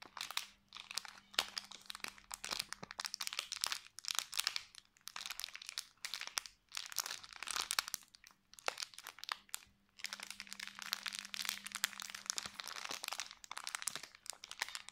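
A hand-sized, clear, thin plastic bag tied with a red ribbon and full of soft white marshmallows is squeezed and crinkled with the fingertips. Bright, crackling crinkles come in dense bursts separated by brief quiet pauses, over a faint steady low hum.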